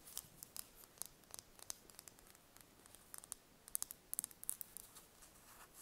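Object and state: Hen's egg tapped with fingernails.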